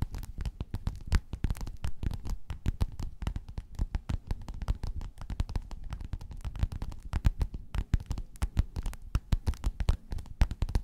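Long nails scratch and tap rapidly on a flat, padded, gold metallic quilted faux-leather cover. The taps land as a dense run of dull, low, muffled thumps with soft scratching between them, each dying away at once with no ring.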